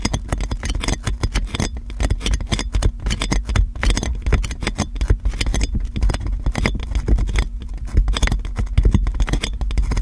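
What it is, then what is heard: Plastic cling film scratched over a microphone. Fingertips and long nails scratch and crinkle clear plastic cling film wrapped around a metal microphone. A dense, continuous stream of rapid crackles and scratchy clicks spreads across the range, over a heavy low rumble from handling the mic. The texture stays busy and fairly steady for the whole clip.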